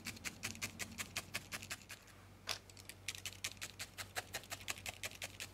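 A thin steel felting needle is repeatedly stabbed into a small, solid ball of grey-white felted wool held between the fingertips. The result is a rapid run of soft, crisp, bright ticks over a faint steady low hum, with a brief pause and one louder poke midway before the quick stabbing resumes.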